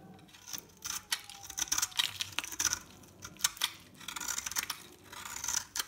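A metal blade shaves and scores a solid, hand-sized bar of dry soap with an orange shell and cream core into layered flakes. Bursts of crisp, bright scraping and crackling come in quick irregular strokes, with short dry ticks and almost no low end, as the flakes break away.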